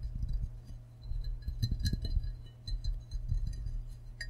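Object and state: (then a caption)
Ceramic mug, tapped. An empty glazed ceramic frog mug is turned in the hands and tapped with fingertips and nails on the rim area, the green back and the unglazed base. Short, bright clinks and soft taps come in quick clusters over a steady low hum, each dying away almost at once.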